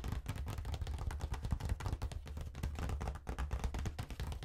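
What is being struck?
Faux leather wallet phone case.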